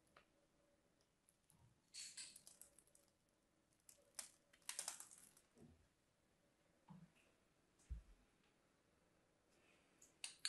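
A craft knife lightly scores lines across the surface of a solid lavender striped bar of soap, making quiet, bright scratching sounds. The scrapes come in short, uneven bursts separated by near silence, with a few soft low thuds in between.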